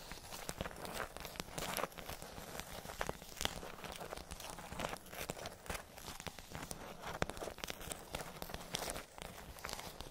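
Long nails tap and scratch across a pink plastic tray with hollow domes, making a steady stream of quick, crisp clicks and dry scraping crackles. The sound is bright and brittle, with short, dead hits that do not ring on.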